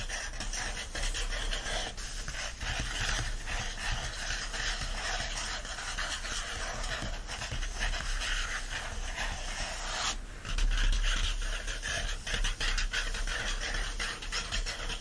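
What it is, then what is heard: Paper book pages being rubbed and scratched. Fingertips rub and scratch the printed paper pages of an open Secret Garden hardcover lying flat. A steady, dense papery scraping and rustling runs throughout over a low rumble, growing louder and brighter from about ten seconds.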